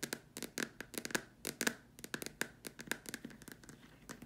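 Long dark nails tap the top and sides of a large, hollow white plastic dome lamp shade. About twenty quick, sharp, clicky taps come in an irregular rhythm, each bright with a hollow plastic tone near 1.7 kHz. Each tap dies away almost instantly.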